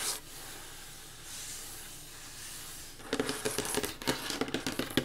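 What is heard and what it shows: Fingertips and long nails scratch the flat top of a solid, dark-stained wooden table, making a soft, steady, hissy rasp for about three seconds. Then they switch to fast, uneven tapping: quick, dry, bright clicks with a woody knock and almost no ring.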